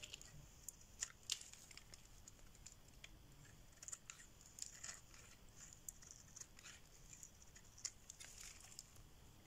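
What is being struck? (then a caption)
Bar of soap shaved with a metal blade. A solid pink rectangular bar of dry soap, held in the hand, is shaved with a metal blade so that curls form. The sound is quiet, bright, crisp scraping with scattered short, sharp ticks and crackles over a faint steady hiss.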